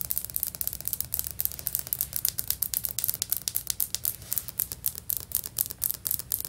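Long fingernails on both hands scratch and rub quickly across solid, stone-pattern ceramic floor tiles. The result is a fast, steady run of crisp, bright scraping bursts with almost no ring, over a faint low hum.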